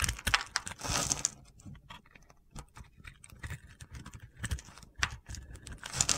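A metal box-cutter blade scrapes pre-scored crunchy cubes off a solid cream soap bar with a purple glitter edge, held in a hand with red nails. A loud, gritty scraping burst in the first second gives way to a run of crisp, bright crunches and snaps as the cubes break away.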